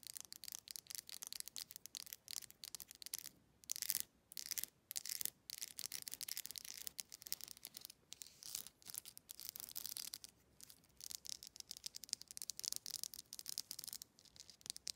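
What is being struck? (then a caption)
Plastic wide-tooth comb. Long nails strum along the teeth of a black plastic wide-tooth comb, making fast, bright clicking rasps in dense bursts with brief pauses. The sound is quiet and almost entirely high-pitched, with no low end and each click dying away instantly.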